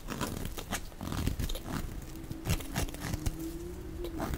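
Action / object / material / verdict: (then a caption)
scrape / bar of soap / soap / none. A dark blade shaves and scrapes curly flakes off the surface of a solid, dry, hand-sized orange-red soap bar held in one hand. The result is a steady stream of soft, crackly scraping and crunching with a muffled, low-heavy body. A faint thin tone hums underneath during the second half.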